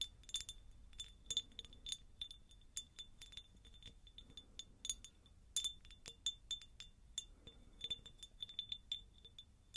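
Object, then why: Glass jar. A textured, pineapple-shaped glass jar is tapped repeatedly with the fingers, giving quick, bright glassy clinks. Each tap rings briefly at a steady tone near 3.5 kHz, with light high-end sparkle over a quiet background.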